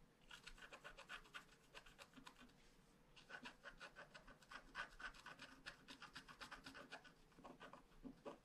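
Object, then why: Scratch-art paper card with black coating, wooden stylus. A wooden stylus scratches the outline of a unicorn at the upper right of a flat paper scratch-art card with a black coating. Quick, dry rasping strokes come about four per second in an uneven rhythm, each bright and short with no ring. There is a brief quieter pause near the middle.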